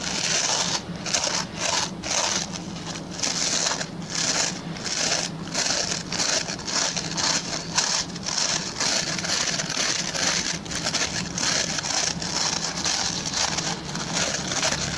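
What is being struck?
Plastic pin-bristle brush.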